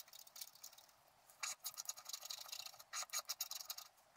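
A wooden stylus scratches along the bottom edge of a flat scratch-art card made of black-coated paper. The result is quiet, dry, high-pitched scratching in quick strokes and bursts with no low end, growing louder and sharper in the second half.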